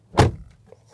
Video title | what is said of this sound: Essai Mercedes EQE SUV : le prix du silence | Le bruit des portières aussi impeccable.